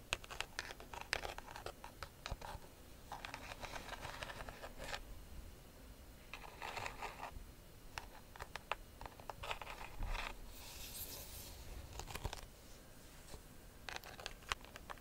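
Long nails scratch across the weave of a hollow, round woven rattan bag. The result is dry, raspy scratching in repeated bursts with a bright, hissy edge over a quiet, low background.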